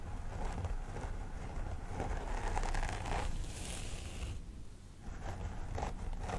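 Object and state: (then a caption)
Plastic doll head with synthetic hair. Long nails on both hands scratch along the part of a life-size plastic doll head with synthetic hair. The result is a steady, crisp scratching and crinkling texture over a low rumble, with a brief quieter dip near the end before it resumes.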